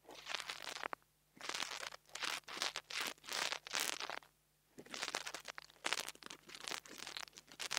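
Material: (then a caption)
Metal mesh. A metal nail tool tip taps and scratches the metal grille of a small black plastic mini lavalier microphone. It makes bursts of bright, crinkly scraping and fast clicking, separated by short silent pauses.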